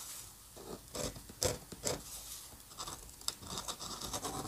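A steel-nib dip pen scratches repeated short strokes across a flat paper sheet covered in dense ink hatching. The result is a quiet, uneven run of dry, bright scratching rasps with sharp little nib clicks.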